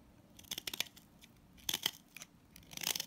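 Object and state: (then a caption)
Salt scrub soap bar being shaved. A box-cutter blade shaves crumbly flakes from a pink solid salt scrub soap bar held in hand. The result is three clusters of short, dry, bright crunching scrapes with almost no low end, separated by quiet pauses.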